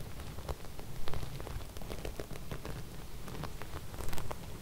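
Both hands with long red nails scratch and smooth flat silver sequins embroidered on fabric. The sound is a dense, crackly patter of quick clicks and rustles, like rain on a surface, with a steady low rumble underneath and a few louder scrapes standing out.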